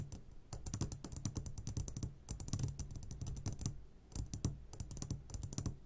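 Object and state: Glass candy jar tapped.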